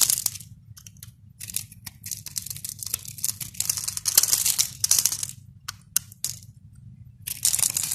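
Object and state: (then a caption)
Bar of soap being carved. A red-handled utility knife blade scores and scrapes a cube grid into a palm-sized solid white bar of soap held in the hand, and small soap cubes break off and drop. Bright, dry scraping and crisp crunching come in short bursts and longer drawn strokes, separated by near-silent pauses.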